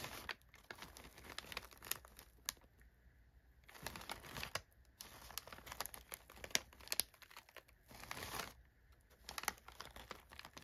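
Brown crumpled kraft packing paper sits inside an open cardboard box while an open hand with short nails presses, rubs and scratches it. The paper gives off dense, bright crinkling and crackling, with louder bursts of crumpling around 4 seconds and again near 8 seconds. Quieter rustles and sharp little ticks fill the gaps in between.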